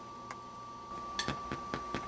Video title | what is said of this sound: How to make Sprouted Wheat Bread | when you tap on it you can hear that Hollow